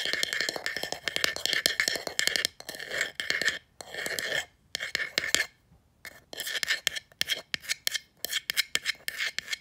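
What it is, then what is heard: Painted wooden box sign. Long nails quickly scratch and rub across the painted surface of a small, hollow, black-painted wooden box sign lying face up on carpet. The result is a rapid run of dry, bright scratching strokes in short bursts separated by brief pauses, with almost no low end.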